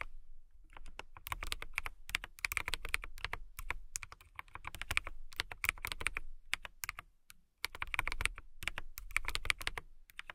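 Long nails and fingertips type on a compact transparent acrylic mechanical keyboard with clear plastic keycaps and a clear case. Rapid bursts of bright, clicky keystrokes layered over low thuds die away almost instantly. Brief pauses break the typing, the longest just past the seven-second mark.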